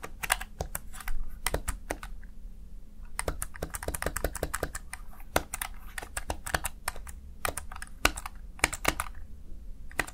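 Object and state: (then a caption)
Plastic gaming keypad. A small backlit plastic Razer Tartarus Chroma gaming keypad, seen from the side, has its keys typed rapidly by fingertips. Dense, sharp, bright plastic clicks and clacks come in quick, uneven bursts with very short decay, over a steady low background hum.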